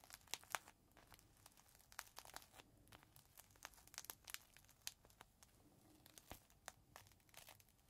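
Fingertips pinch and crinkle a small clear plastic bag holding a folded green microfiber cloth, and the bag is tilted in the hands near the end. The result is a quiet, steady run of sharp, bright crackles and crinkles with almost no low end.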